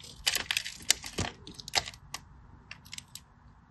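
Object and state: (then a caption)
Dry bar soap being carved. A small metal blade carves and scrapes a hand-sized solid green bar of soap held in fingers with short blue nails, breaking off dry flakes and chunks. About a dozen sharp, irregular, bright crackling scrapes and clicks are heard, each ending abruptly with almost no ring.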